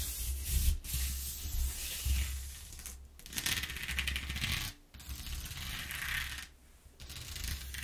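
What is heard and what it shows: Long nails rub and scratch along the ridges of a ribbed corrugated cardboard sheet, making a bright, gritty scraping with a fine rapid texture. The strokes come in several bursts separated by brief pauses, over a steady low hum.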